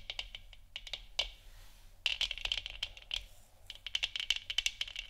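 Long nails tap the sides and top of a large, hollow, 3D-printed plastic moon lamp sphere that is lit orange. The result is quick, bright clicking taps in uneven bursts, with short dry rattles and brief pauses, and almost no low end.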